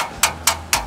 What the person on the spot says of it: besi sih guys enggak langsung plastik